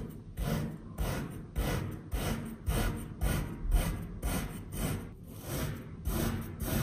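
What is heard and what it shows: A hand-held metal knife tip and blade finely slice and cross-hatch a long solid bar of pink kinetic sand in repeated cutting strokes. Each stroke makes a soft, gritty, low-weighted rasp with a short, dry ending, in a loose, uneven rhythm of just under two strokes per second.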